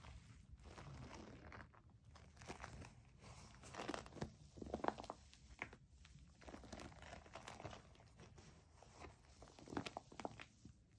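Long nails scratch and squeeze the nubs on the back of a white plastic foam bath pillow with suction cups. Soft, crinkly scratching and squeaky rubbing run throughout, with sharper crunchy bursts rising now and then.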